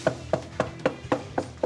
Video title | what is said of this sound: Best of Holmes Inspection - 103+104 Full Episodes | It's hollow, yeah. Now, what that means is it's completely not bonded no longer